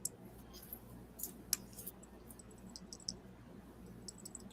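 The metal bracelet of a knockoff watch with a Miyota movement is shaken, giving quiet, irregular, tinny high-pitched clicks and rattles over a low background hum. The tinny rattle marks it as a fake, since a genuine watch would not make that sound.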